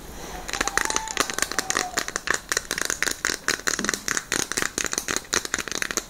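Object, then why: Plastic puzzle cube. A small plastic Rubik's-style cube with orange and white stickers is held in both hands and tapped with long nails, giving a quick run of about thirty sharp, bright clicks. The loose pieces click and rattle with a dry, crinkly texture and almost no ring or low end.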